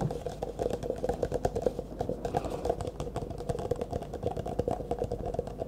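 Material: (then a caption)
Plastic. Fast fingertip and nail tapping on the walls of an empty, hollow, disposable clear plastic cup held upright in both hands. The result is a rapid, continuous patter of short, dry, hollow clicks with a light tone around 500 Hz and almost no ring.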